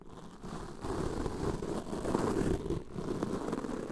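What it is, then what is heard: Foam microphone windscreen being brushed. Plastic-bristle mascara wands, one in each hand, brush and scratch along the sides and bottom of black foam microphone windscreens. The result is a continuous, dense, low-mid scratchy rustle that swells and fades unevenly, with little high-end content.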